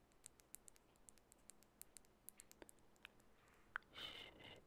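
A small glass bottle of orange nail polish with a barcode label and black cap is tapped with long bare natural fingernails. Light, sharp clicks ring briefly at a quick, uneven pace, followed by a softer brushing rustle at the end.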